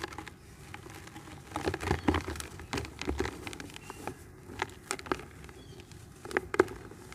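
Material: Cement.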